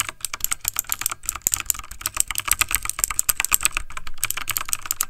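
Fingertips of both hands type fast on a backlit plastic mechanical computer keyboard. A rapid, unbroken stream of sharp, bright key clicks with short, dry clacks and a faint low thump under them fills the whole clip.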